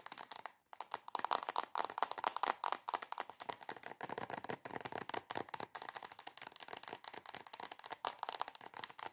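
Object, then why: Soft plastic squeeze tube. Long acrylic nails tap rapidly on a soft plastic squeeze tube of cream held upside down. The result is dozens of quick, crisp clicks with a hollow plastic tone, broken by a brief pause near the start, then a fast, steady stream of taps mixed with scratchy rustling and almost no low end.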